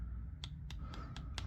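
The black hard-plastic sections of a Buck folding knife handle, which also has rubbery orange sections, are tapped several times. This produces faint, short, sharp clicks over a steady low hum.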